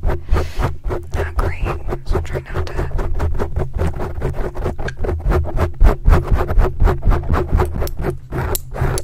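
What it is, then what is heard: Foam microphone windscreen being scratched. Metal claw rings worn on the fingertips of both hands aggressively scratch a large, soft, porous black foam windscreen covering a microphone. Rapid, fairly uneven scraping strokes come about four times a second, each a short bright, crackly rasp over a heavy, constant low rumble. There is no ring after each stroke.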